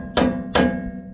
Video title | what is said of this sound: Master Mechanic Tips to find suspension noise in cars and trucks | it doesn't move when you pry on it, but when you hit it with hammer, it's got play